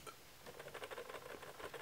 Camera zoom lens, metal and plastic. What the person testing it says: I'm shaking it and you can hear that noise something in here is not a hundred percent tightened